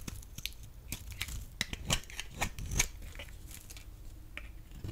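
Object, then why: Laundry soap bar. A blade shaves crumbly flakes off the edge of a solid, rectangular, pale yellow bar of dry laundry soap. The shaving gives a series of short, dry, crisp scraping and crunching cuts with bright, papery edges over a faint low rumble. Each cut ends almost at once with no ring.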